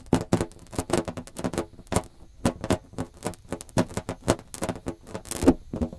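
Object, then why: Inflated latex balloon. A large, hollow, inflated blue latex balloon is held in both hands around the microphone while fingertips rub and scratch its surface. The result is a quick, uneven run of short, dry rubbery squeaks and scratches with a low, drumlike body and almost no ring.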